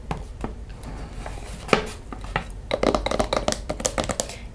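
Fingers tap repeatedly on the wooden cover of a photo book from Australia, producing quick, dry knocks with a hollow woody tone around 430 Hz. The taps start sparse and soft, then grow faster and sharper in the second half, each dying away almost instantly.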